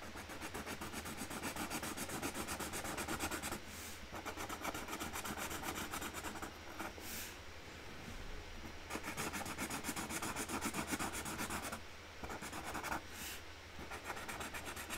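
A hand colours in a flower outline on a flat cardboard box lid with a pink Sharpie marker. Steady, rapid scratchy rubbing strokes of the marker tip on the cardboard continue throughout, with a few brief pauses between bursts.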